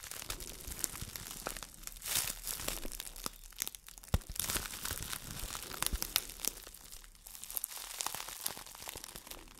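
A small, empty, crumpled clear plastic wrap bag is crinkled and squeezed in hands with long dark nails. A steady, dense crinkling with bright, sharp crackles and sudden louder pops carries on for the whole clip at a fairly quiet level.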